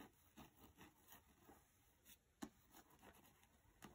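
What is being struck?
Paperback book with glossy card cover.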